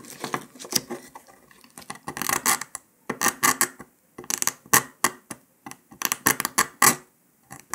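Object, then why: Brittle sugar candy disc scraped with a metal needle. A metal needle scratches and picks along the cut line of a brittle brown dalgona honeycomb sugar candy disc resting on paper. Bursts of dry, bright scraping and sharp crackly ticks come in irregular clusters, separated by brief quiet gaps. There is almost no low end.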